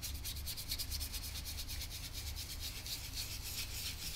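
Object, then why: Painted canvas surface rubbed with a soft swab. A gloved hand rubs the cracked paint on the face of an old oil portrait on canvas, lying flat, using a soft brush or swab on a yellow wooden handle in small strokes. Steady, bright, brushy swishes repeat in a quick rhythm over a constant low hum.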